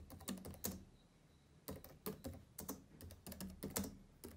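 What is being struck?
Plastic laptop keyboard keys.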